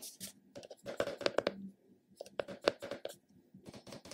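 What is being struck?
Round plastic cosmetic container.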